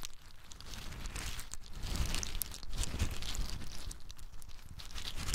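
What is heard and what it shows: A handful of small, hard, brown in-shell pine nuts is held in cupped hands, shaken, rubbed together and poured from one hand to the other. The shells make a steady, dense rattle of crisp, bright clicks and crunchy rustling over a low rumble, swelling a little in the middle of the clip.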